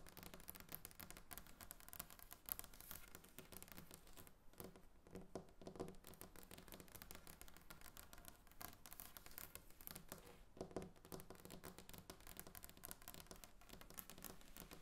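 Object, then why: Varnished wooden tabletop. Long painted nails tap and scratch across a large, solid, glossy varnished wooden tabletop. The result is a quiet, steady stream of rapid, dry clicks and ticks that stop short with no ring, over a low, soft background.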